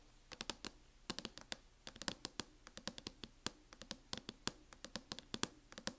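Long nails tap and lightly scratch the lid of a closed MacBook in a teal matte plastic hard-shell case. Dozens of quick, dry, bright clicks come in irregular bursts and clusters over a faint scratchy hiss, each dying away almost instantly.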